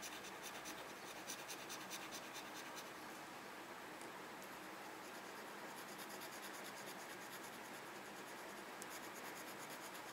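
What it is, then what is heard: Paper scratch-off parking coupon. A red plastic pen-like tool scratches the scratch-off grid of a small, flat paper parking coupon held on a desk. The sound is a steady, quiet, dry scratching with a bright, hissy texture and faint rapid strokes that continue without a pause.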